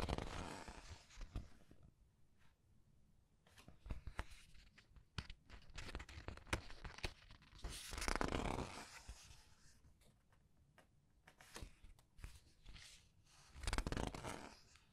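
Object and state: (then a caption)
Glossy paper pages of a large book. Fingers turn and squeeze the glossy paper pages of a large art book. Soft, quiet crinkling and crackling clicks run throughout, with fuller rustling sweeps of pages turning near the start, around the middle and near the end.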